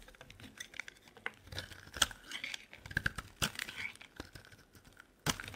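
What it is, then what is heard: Bar soap being shaved with a blade. A utility knife blade shaves a solid lilac soap bar held in the hand, giving a run of dry, crinkly scraping strokes with bright, crisp edges. Short sharp cuts peak out of the quiet shaving, with a loud crack near the end.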